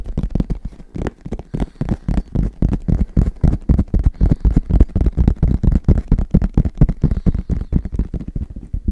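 Fast tapping on a headphone case produces a rapid, uneven stream of short, dull thuds. The taps are deep and bass-heavy, with almost no brightness, and each one dies away instantly without ringing.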